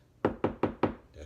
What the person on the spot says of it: I did knock on the wall that's not a stud